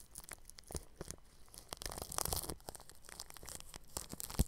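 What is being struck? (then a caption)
Plastic cling film stretched over a microphone, brushed with bristles. A bristle paintbrush brushes across clear cling film stretched over a round microphone's grille. The result is a run of close, crinkly, scratchy strokes with bright crackle and soft low thumps, loudest near the middle and ending in a sharper tap.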